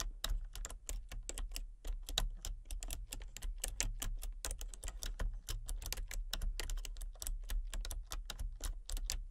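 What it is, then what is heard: Plastic computer keyboard being typed on. Fingertips and painted nails type rapidly on a full-size plastic computer keyboard with a colour-changing backlight. Dense, quick, bright clicks with very short decay ride over a steady low hum.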